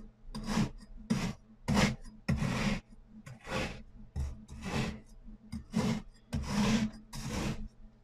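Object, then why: Kinetic sand cut with a metal cleaver. A hand pushes a metal cleaver down through a solid pink and purple kinetic sand disc pyramid, slicing repeatedly through the already-scored discs. Each cut makes a short, gritty rasping crunch with a bright, sandy hiss. The slices come in a steady series over a faint low hum.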